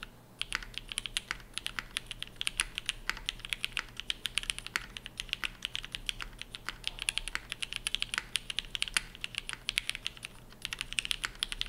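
Continuous fast typing with both hands' fingertips on a dark navy tenkeyless mechanical keyboard with GMK ABS keycaps and a POM plate, resting on a desk mat. The keystrokes sound as bright, short clicky clacks in a dense, uneven rhythm with almost no ring after each press. A faint low hum sits underneath.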